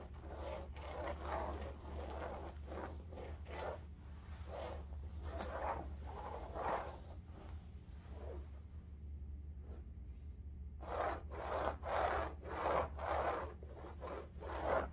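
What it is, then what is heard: Fabric bolster pillow being scratched. A large cylindrical upholstered bolster pillow covered in striped woven fabric, lying flat and then standing upright, is scratched with long nails. Repeated rough, bright scraping strokes come in quick bursts over a steady low hum, with a brief quieter pause before a dense run of strokes resumes.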